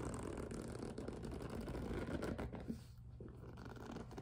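A medium pink and clear PVC vinyl two-tier cosmetic case, hollow and resting on a table, has its top edge tapped and scratched with long nails. The result is a quiet, steady scratchy rustle with soft plastic taps, one sharper tap near the middle, then a slightly softer stretch.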